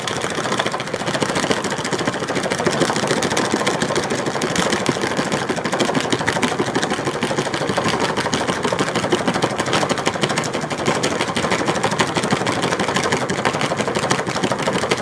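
Fingernails tap fast on the blue lid of a round plastic tub full of glitter slime. The result is a dense, steady stream of crisp, rapid clicks that runs the whole clip with no pauses.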